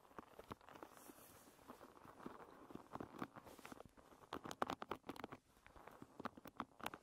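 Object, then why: Wooden pin bristle hairbrush. A wooden pin-bristle hairbrush lies bristles up while long red nails and fingertips scratch and flick its many small wooden pins. The result is a quiet, dry patter of rapid, crisp clicks and ticks, bright and midrange, with a soft scratchy hiss between them.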